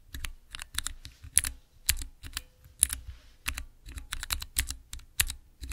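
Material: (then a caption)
Plastic. Fingertips press and type on the transparent keycaps of a small, clear acrylic Cherry MX mechanical keyboard switch tester. A quick, uneven run of sharp plastic clacks follows, each pairing a low thump with a bright, high click that dies away almost instantly.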